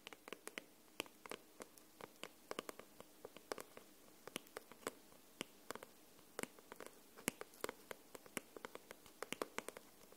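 Long nails tap and scratch the glossy paper cover of a solid paperback book held upright. About 45 short, dry, bright clicks and scrapes come in an irregular stream over a quiet hiss, each stopping at once with no ring.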